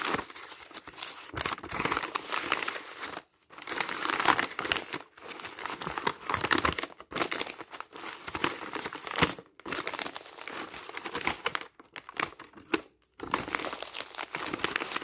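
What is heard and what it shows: Fingertips flip and squeeze a thick bundle of crumpled, thin printed magazine pages. Dense, crackly crinkling fills the mid and high range in bursts, broken by brief silent pauses, with almost no low end.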